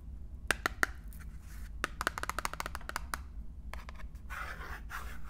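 A small printed cardboard box holding a full bar of wine soap is turned in the hands while fingertips and long painted nails tap and scratch its surface. Sharp, dry taps come in scattered bursts over a low background rumble, and the clip ends with a softer, bright scratching rustle.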